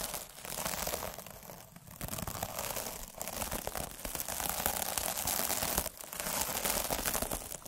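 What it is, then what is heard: Plastic mesh scrub sponge rolled with a needle roller. A derma roller with fine metal needles is rolled by fingers over the surface of a sparkly, soft, iridescent plastic mesh scrub sponge. It makes a dense, bright crinkling and scratching texture with many tiny crackles, in steady rolling passes broken by short dips near 2, 3 and 6 seconds.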